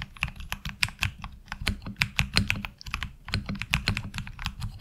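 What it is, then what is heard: Mechanical keyboard with ABS keycaps. Fingertips type on a HyperX Alloy Origins Core mechanical keyboard with ABS keycaps. Quick, irregular keystrokes each give a short, dry click with a bright clack near 2.4 kHz over a low thock, with no ring after each hit.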